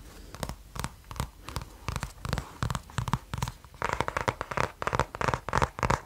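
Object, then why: Kraft cardboard notebook cover. Fingertips scratch and rub the cover of a small kraft cardboard-covered spiral notebook held up beside the mic. A quick, uneven series of short, dry scratching strokes with a low thump beneath each, growing louder and more papery in the second half.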